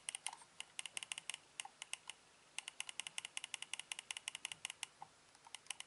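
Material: Plastic.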